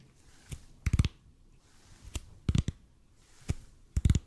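A large, hollow, red-and-white EPP bead foam roller is held close to the mic and slowly tapped and scratched with the fingertips. Dull, low, dry thuds with brief bright clicky edges come in a loose pattern: a single tap followed by a quick cluster of taps, repeating. Each hit dies away almost at once against a quiet background.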